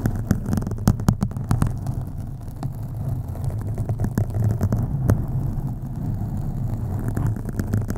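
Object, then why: Foam microphone windscreen. Long acrylic nails on both hands scratch a black foam windscreen on a USB microphone, producing a dense, muffled rumbling rustle concentrated in the low end with a steady throbbing hum. Sharp, brief clicks and scrapes break through at irregular moments over the continuous deep scratching.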